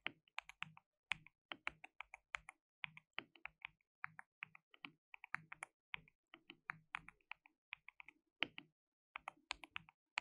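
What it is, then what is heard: Plastic mechanical keyboard. Fingertips type rapidly on a white, RGB-backlit compact mechanical keyboard with plastic keycaps and a hollow case. Dozens of sharp, bright, clacky keystrokes land in a quick, uneven rhythm. Each click dies away almost instantly.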